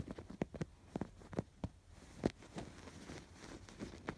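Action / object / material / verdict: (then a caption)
scrape / stuffed canvas pillow with yarn embroidery / canvas, yarn / none. Fingertips scratch across the stitched rows of a stuffed canvas pillow with raised blue and yellow yarn embroidery. About nine short, dry, muffled scratches sound at an uneven pace over a faint rustling bed. The scratches are quiet, weighted toward the low and middle range, and die away almost instantly.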